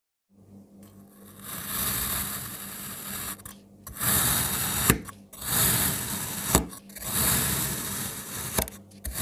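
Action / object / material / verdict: scrape / kinetic sand block / kinetic sand / none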